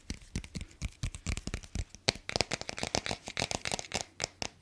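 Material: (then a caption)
Cardboard. Fingertips and nails scratch and tap the glossy cardboard cover of a small, closed hardcover children's picture book, "Bruno," held up close to the microphone. A quick, uneven run of dry, crisp taps and scratchy brushes fills the clip, each one bright with a soft low thump underneath and almost no ring.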